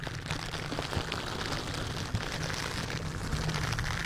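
A large white condenser microphone's hollow metal mesh grille is scratched and rubbed by a silicone bristle dish glove worn on the hand, in repeated scratching strokes. A dense, steady rustling hiss with a low rumbling body fills the clip, with faint brighter scrapes and a few soft bumps. It sounds like continuous patter.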